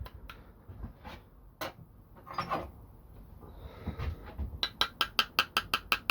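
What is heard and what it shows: The plastic handle of a knife from a mystery box is tapped in a quick, even run of sharp, bright clicks near the end, after scattered handling noises. The handle sounds hollow and may not hold up like high-end handles, so it is to be replaced with a wooden one.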